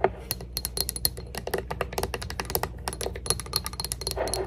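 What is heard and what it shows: A small, round, clear glass Cloud perfume bottle, partly filled, with a metal neck and a plastic cloud-shaped cap, is held up and tapped rapidly with long acrylic nails. The result is a dense run of quick, crisp, bright clicks with a faint glassy ring, over a steady low hum.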